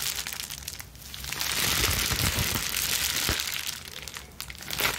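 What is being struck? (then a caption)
Plastic bubble wrap sheet. A balled-up plastic bubble wrap sheet is crushed and scrunched between both hands with long nails. Dense, bright crinkling and crackling runs throughout, with occasional sharper low pops. It swells louder through the middle, eases off, then rises again at the end.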